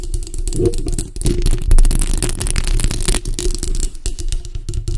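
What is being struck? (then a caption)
Metal mesh microphone grille. Long acrylic nails scratch the front and sides of the hollow metal mesh grille on a bare black microphone. The result is a steady, dense rasping scratch with a heavy low rumble, overlaid with quick, short bright ticks and clicks.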